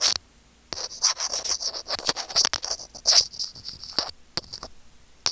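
Curved-tip steel tweezers scratch a small, hollow white plastic earphone mic remote hanging on its cable. Rapid bursts of bright, high, raspy scraping come in uneven clusters separated by brief silences, with almost no low end.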